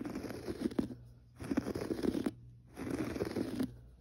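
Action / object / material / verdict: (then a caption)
scrape / textured pile carpet / carpet fibre / none. Fingertips of both hands scratch a gray textured pile carpet on the floor, giving three bursts of dry, raspy scraping with a low-mid body and faint bright hiss, each separated by a short quiet pause.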